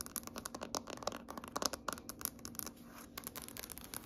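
Long fingernails on both hands scratch and tap across a large, solid gray wood-grain tabletop. Rapid, dry, clicky taps mix with brief scratchy rasps, bright and crisp with almost no ring after each hit.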